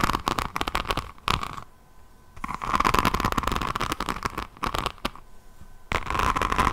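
Long nails scratch across the beaded resin rhinestone cover of a diamond painting notebook, then along its edge and spine. Dense bursts of crisp clicking and crackling scratches come in rapid runs with brief quieter pauses. A faint steady tone sits near 1 kHz underneath.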